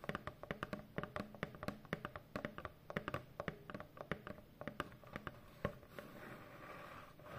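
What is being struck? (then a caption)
Corrugated cardboard box. Long fingernails and fingertips tap rapidly on a large, hollow corrugated cardboard shipping box, making quick, dry, hollow knocks with a mid-range pitch near 580 Hz that die away almost at once. Near the end, the tapping gives way to a softer, steady scratching rustle across the cardboard.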